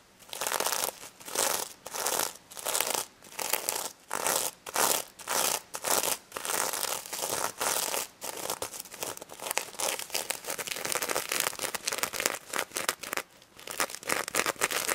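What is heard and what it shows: Long red nails scratch the plastic sequins and mesh fabric snout of a small pink stuffed plush pig toy, with some tapping. The sound is a bright, dry crinkling and rasping, in short separate bursts at first, then denser and more continuous strokes toward the end.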